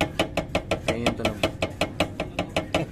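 A car bumper, resting loosely on a metal bracket, is shaken by hand from the underside and knocks against the bracket in a rapid, steady series of short, dry knocks with a hollow mid-range tone and brief bright clicks. The loose contact is the faulty source of the car's knocking noise.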